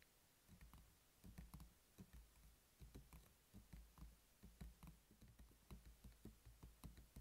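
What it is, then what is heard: Plastic pill organizer case. Fingertips with short nails tap the lid of a hollow, black hard-plastic weekly pill organizer, which is open at first and then closed and lying flat on a table. The taps come in a quick, uneven patter like typing, each a dull, low knock that dies away almost at once.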